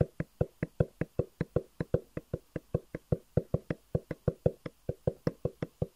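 Fingertips quickly tap a long, hollow black cardboard box with white edges that is held in the hand, producing 31 evenly spaced, dull, hollow knocks. Each tap is low-pitched and dies away almost instantly.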